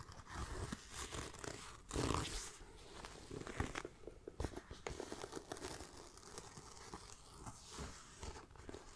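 Fingernails scratch across the grained surface and the striped webbing strip of a small, hollow black pebbled faux leather backpack. The result is a close, soft, continuous rasping and crinkling texture, with a brief louder rustle around two seconds and quick scratchy flicks throughout.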